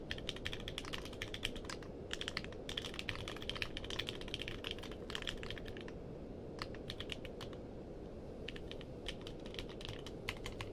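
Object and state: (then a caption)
Mechanical keyboard with plastic keycaps. Fingertips type on a compact mechanical keyboard with a purple case and plastic keycaps. Quick runs of sharp, bright clacks, centered near 3 kHz, break off briefly around the six- and eight-second marks. A steady low rumble sits underneath the whole time.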